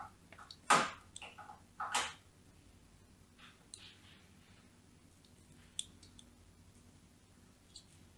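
A thin blade, held by a hand with long nails, scores and scratches fine lines into the surface of a solid white, palm-sized bar of soap held in one hand. Crisp, bright scraping strokes come in short irregular bursts, the loudest two early on. Fainter, sparser scratches follow over a quiet background.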